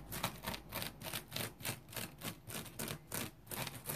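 Fingertips and nails scratch the face and serrated edge of a dry, round, yellow polymer foam smiley-face scrub sponge. Quick, uneven rasping strokes repeat, each a bright, airy scratch with a soft low rumble underneath, stopping almost instantly between strokes.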